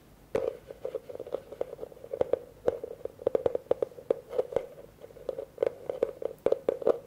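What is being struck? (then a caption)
Plastic bucket. Fingertips tap quickly and irregularly on the rim and outer wall of a hollow, empty blue plastic bucket, seen from its open side. Each tap gives a short, dull, hollow knock centered near 500 Hz with a brief bright click on top, and the knocks die away almost at once. A fast, uneven rhythm of dozens of taps continues throughout.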